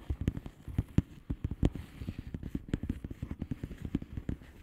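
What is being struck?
Plastic bubble wrap envelope.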